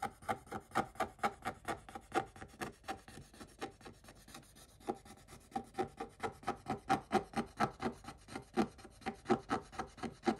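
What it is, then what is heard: Scratch-off coated paper being scraped. A wooden stick scratches the black coating off a scratch-art paper page in quick, uneven back-and-forth strokes, about two per second. Each stroke is a short, dry, mid-pitched rasp with a bright edge. There's a brief softer patch in the middle before the strokes grow louder again.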